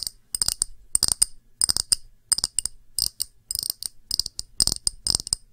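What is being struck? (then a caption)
Small round glass dish. Long nails tap a small, round, empty clear glass dish in quick clusters of bright, high clicks. Each tap is dry and short, with almost no ring.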